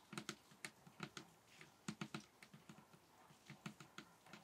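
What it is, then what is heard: Table top tapped with fingers. A table top is tapped with the fingers in a quick, uneven run of 14 soft, bassy taps, each with a low thump around 210 Hz and a brief bright click. Every tap dies away almost instantly against a faint, steady background hiss.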